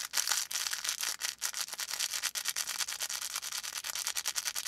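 A felt volcano plush with a faux fur top is held in both hands while fingertips rub and scratch its felt surface. The result is a rapid series of short, dry, bright scratching strokes, almost entirely high-pitched hiss with no low end.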